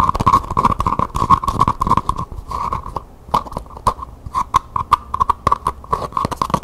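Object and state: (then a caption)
Faux leather covered pencil cup. Long painted nails rapidly tap and scratch the curved side of a single small, hollow, cylindrical pencil cup covered in map-printed faux leather, held in one hand. A fast run of dry, sharp clicks sits over a steady mid-pitched tone near 1.1 kHz, with brief scratchy rustles between taps, a short lull around the three-second mark, and almost no ring after each hit.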